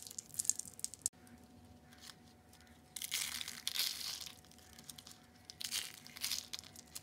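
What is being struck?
Dried soap curls.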